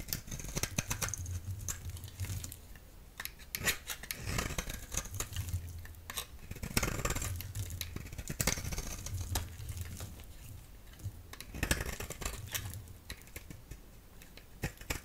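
A solid orange oval bar of soap, held in the hand, is scraped with a utility knife blade, producing many short, dry scraping and crackling strokes with bright, crisp high-end detail over a soft low hum. The strokes come in uneven bursts, with a few louder scrapes standing out, and each one stops quickly without any ringing.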